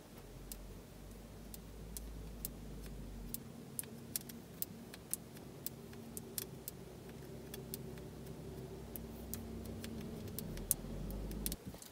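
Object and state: Plastic car gear knob tapped with fingernails.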